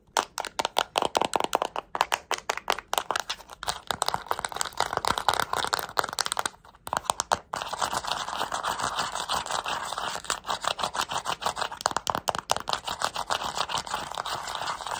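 Long acrylic nails tap and click on the colorful rubber buttons of a small, flat plastic remote control held in the hands, and scratch along its plastic casing. For the first half there are quick, dry, crisp clicks with a brief pause. After that they give way to a dense, continuous, bright scratching texture.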